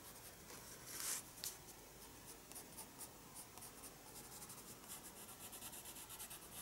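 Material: Paper.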